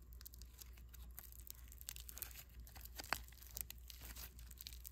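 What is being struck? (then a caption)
Foam bead clay ball. A solid, palm-sized ball of mixed-color foam clay made of polystyrene beads is squeezed in a fist and rubbed with a thumb. It produces a quiet, continuous crunchy crackle of dense, bright, short snaps over a steady low hum.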